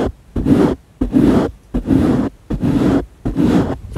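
Fingertips rub and scratch over the surface of a round, soft, porous black foam windscreen on a microphone. A steady series of separate rustling, scraping bursts, each about half a second long, is heard with short quiet gaps between them. The sound is full and low-to-mid heavy, with a muffled, close texture.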